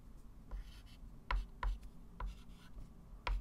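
A hand writes math digits with a white chalk stick on a small, flat, framed blackboard lying on a table. The chalk tip makes soft scratching strokes, broken by four sharp taps with a dull low thump against the board. Each tap dies away quickly.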